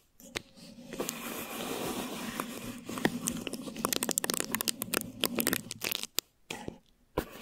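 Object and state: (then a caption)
Plastic wrap over a microphone. Thin plastic wrap stretched over a microphone head is rubbed and scratched with fingertips and long nails. A steady crinkly rubbing builds into a dense run of sharp, bright crackles and scratchy clicks. Short bursts follow, separated by brief silences near the end.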